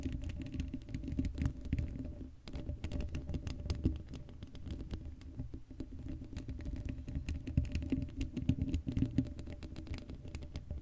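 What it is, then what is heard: Metal mesh microphone grille. Long acrylic nails scratch and tap the hollow black steel mesh grille of an uncovered Blue Yeti microphone. The result is a dense, continuous patter of quick scratchy clicks and taps that sound heavy and low, with a steady faint hum underneath.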